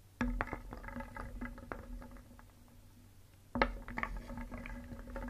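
A wooden spoon held in the fingers stirs a large round wooden bowl filled with many small, solid, painted wooden cones, balls and discs. The pieces knock and rub against each other and the bowl in a quick hollow clatter with a short woody ring near 535 Hz. The clatter comes in two bursts, the second starting after a quieter stretch of lighter rattling.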